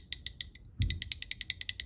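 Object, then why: Steel pocket clip against titanium knife scale. A steel pocket clip on a knife is flexed out and allowed to snap back against the titanium scale, over and over. About sixteen sharp, bright metallic ticks are heard, with a dull low thump near the middle. It is a typical clip "tapper" rattle, the kind considered annoying.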